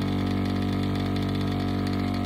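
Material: Nothing is struck.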